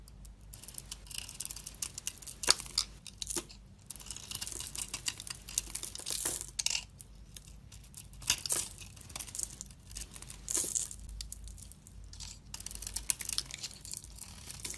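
A rounded pink soap bar with a dark coating and pink flakes over a pink interior, held in the palm, has its coating shaved off with a utility knife blade. The sound is a run of dry, crisp scraping and flaking strokes, mostly high and bright, with short louder rasps scattered through quieter shaving. Nothing rings on after each stroke.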